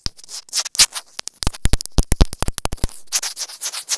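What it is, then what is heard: Plastic earphone inline microphone. A small white plastic earphone inline microphone on a thin cable, with a hollow casing, is held in one hand and rubbed and scratched with long grey-painted nails, beside a large clear plastic water bottle that sits still. Close, crackly scratching and rubbing come in dense quick bursts with sharp, dry taps and bright hiss.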